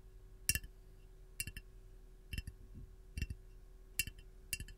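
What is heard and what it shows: Long gold nails tap the side of a hollow, glazed white ceramic canister with a lemon print while it is held. Short, bright clinks ring out in small clusters, each dying away almost at once over a low steady hum.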